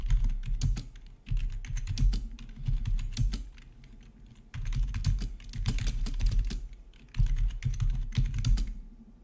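Both hands type with their fingertips on a full-size black plastic RGB membrane gaming keyboard with rainbow backlit keycaps, resting on a marble surface. The keystrokes are soft, low, thumpy clacks with short bright ticks. They come in three rapid bursts with brief lulls between them.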